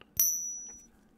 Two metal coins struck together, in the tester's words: two counterfit coins hitting each other I believe they call this the Ping test